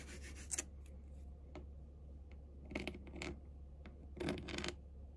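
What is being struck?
Padded faux-leather chair backrest.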